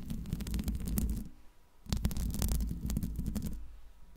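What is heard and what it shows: Long pink nails scratch the metal mesh grille of a Blue Yeti microphone in two bursts, with the hands lifting off in between. Each burst is a dense, deep, rumbling scrape with quick bright crackles, separated by a brief quiet gap.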